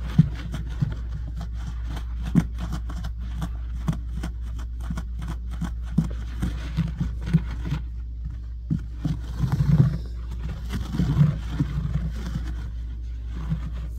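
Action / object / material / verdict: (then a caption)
scrape / low-pile synthetic carpet / synthetic fibre / none. Fingertips and short nails of both hands scratch a low-pile brown synthetic carpet laid on a solid floor, quickly and aggressively. Dense, short, dry scraping ticks ride over a steady low rumble, with occasional louder bursts, and the sound stays dull with almost no bright content.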